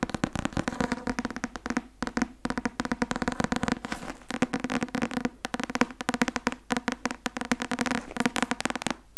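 A thick paperback law textbook, "Öffentliches Recht" (Academia Iuris), with a white and blue card cover and a solid paper block, is held upright in one hand and tapped on the cover with the fingertips and nails of the other. Quick, dry taps come in rapid runs with brief pauses. Each one is short and papery with a slight hollow midrange tone and almost no ring.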